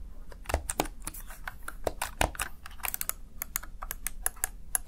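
Fingertips press and tap the keys of a small black plastic backlit Razer Tartarus Chroma gaming keypad in a quick, uneven run. Each tap is a short, sharp, bright plastic click that dies away almost at once, over a faint low steady rumble.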